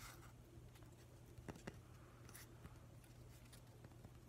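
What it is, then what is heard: Weathered driftwood plank. Fingernails tap and scratch the grainy surface of a solid, weathered driftwood plank held close up. Five short, dry taps stand out among soft scratching, over a quiet, steady low hum.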